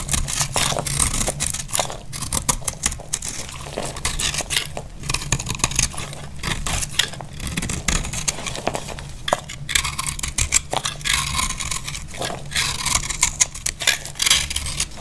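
A solid dry cream soap bar is held in the hand while a small knife carves crunchy flakes off it. Dense, rapid scraping and crackling comes with bright, crisp high-frequency texture. A steady low hum sits underneath throughout.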